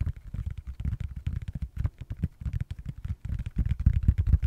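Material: Silicone.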